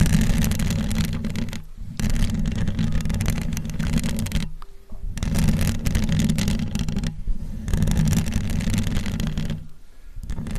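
Long almond-shaped acrylic nails on both hands scratch and tap the hollow metal mesh grille on the dome head of a large USB condenser microphone. Dense, rapid, boomy scratching and tapping comes in bursts of about two to three seconds, separated by brief near-silent pauses. Most of the energy sits in a low, close-up rumble, with little high-frequency hiss.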